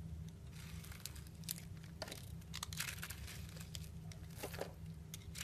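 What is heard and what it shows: A utility knife blade shaves and scrapes thin curls off the top of a round, solid soap bar with a purple outer layer and a pink swirled core, held in the hand. Dry, crinkly scraping strokes with bright, crisp edges repeat over a steady low hum.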